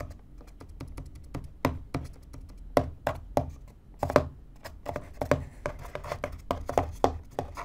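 Fingertips tap and scratch the top panel of a small, empty, hollow corrugated cardboard box, which is turned partway through. Quick, dull, hollow taps with a short knock and no ring fall in an uneven rhythm. Soft papery scratching fills the gaps between them.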